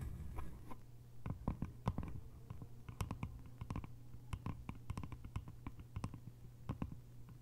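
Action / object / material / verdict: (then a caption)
tap / small bamboo container with lid / bamboo / none. Long nails tap on a small, hollow, cylindrical bamboo container with a lid, first on the top of the lid and then along its sides. The result is a rapid, uneven run of quick, dry clicks and knocks that die away almost instantly, with a faint, steady low hum running underneath.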